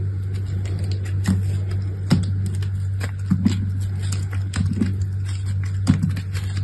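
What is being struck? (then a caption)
Block of soap cut with a blade. A box-cutter blade carves and scrapes brittle layers off a large, solid block of dry soap with a dark grey speckled side and a pastel interior, held in the hand. Short, crisp scraping clicks and crackles come in irregular bursts over a steady low hum. The sound stays dull and low overall, with only faint bright edges on the cuts.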